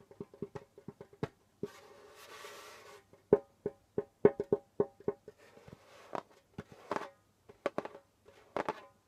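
Knuckles knock on the pale skin head of a djembe, then fingertips tap it, giving short, dry, woody knocks around a mid pitch that die away almost instantly. The hits come in an uneven, quickening pattern, broken early by a soft, hissy rustling stretch.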